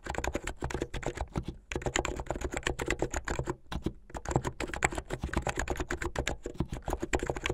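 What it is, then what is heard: Plastic mechanical keyboard being typed on. Fingertips with medium painted nails type fast on a plastic mechanical keyboard with white and blue plastic keycaps and LED underglow. A dense stream of sharp, short clacks runs with a thumpy low end and little brightness, broken by two brief pauses before the typing resumes.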